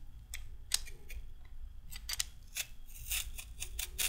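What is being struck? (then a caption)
Raw carrot and handheld peeler. A handheld peeler scrapes along a raw carrot, curling off thin strips of peel. Each pass is a short, crisp, bright scrape over a low rumbling background, repeating at irregular intervals.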